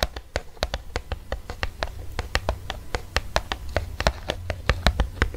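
An eos lip balm in its blister pack, a plastic blister on a cardboard card, is scratched and tapped with fingernails. A quick, uneven run of sharp, dry plastic clicks reaches into the high range with almost no ring, while light scratching and a steady low hum sit underneath.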